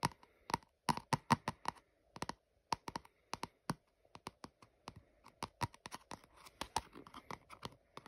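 Fingertips and nails tap and scratch the flat top and barcode label of a small lavender glossy cardboard product box that looks hollow, though it is unclear whether it is full or empty. A quick, irregular run of short, dry, papery clicks with a hollow midrange knock sits over a faint scratchy rustle. Each tap dies away almost instantly with no ring.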